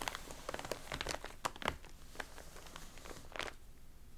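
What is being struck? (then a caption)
Glossy paper magazine. Hands hold a closed glossy paper magazine with a warped, water-damaged cover, and fingertips and palms rub across the cover. Soft, dry crinkling and crackling rustles come in quick bursts, with brighter crisp snaps standing out over a low, quiet background.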